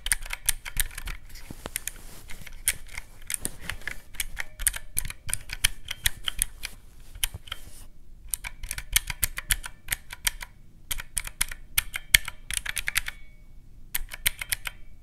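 Fingertips press the round black keys of a teal plastic mechanical-key calculator resting on a white cloth. Rapid, crisp, bright plastic clicks come in quick bursts that each die away almost instantly, with short pauses near the 8 and 14 second marks, over a faint low rumble.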